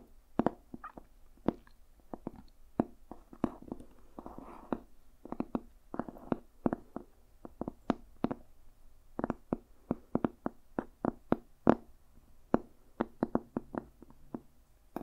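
Fingertips and nails tap on the cover of a small, solid, dark red-brown leather-covered journal with cream page edges, held close. Quick, dry taps come in an irregular, steady stream, each one short and crisp with almost no ring. Soft brushing sounds fill some of the gaps.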